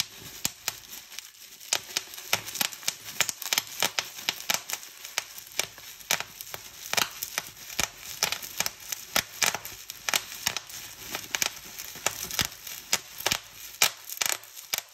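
Clear plastic bubble wrap is pinched between fingertips, popping its bubbles in quick succession. Sharp, bright, short pops ring out over a steady crinkling rustle of the plastic, with almost no low end.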